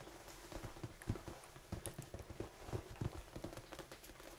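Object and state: Foam dice.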